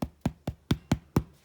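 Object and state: Hollow-sounding baked bread loaf (done).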